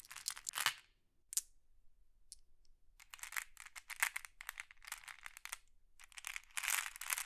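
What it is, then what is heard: Glass pebbles. Fingertips and long nails sift through a pile of small, solid, flat glass decorative pebbles while green pebbles are held in the other hand. Bursts of bright, dry clicking and clinking come in quick clusters, with a near-silent stretch early on and brief isolated taps before the clicking resumes densely.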